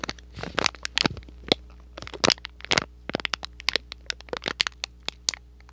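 A small, hollow, thin cardboard box printed in red and white is held close to the microphone and crinkled, squeezed and scratched with fingertips and short nails. It makes a quick, irregular run of sharp, bright cracks and crackles with short scratchy crinkles in between, each snapping off almost at once. A faint, steady low hum sits underneath.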